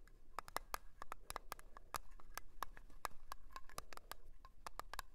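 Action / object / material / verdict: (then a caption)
tap / small round metal tin with lid / thin metal / none. Long polished nails tap and scratch a small, round, blue metal tin of Nivea cream with its lid on, standing on a fur rug. A quick, uneven run of light, sharp clicks has a thin metallic ping around 1.2 kHz, with bright edges and soft scratching between them. The taps stop almost at once and stay quiet throughout.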